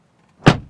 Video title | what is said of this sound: Don’t Buy BMW X1 Until You See NEW 2027 Mercedes GLB 200! | Solid sound of the rear doors.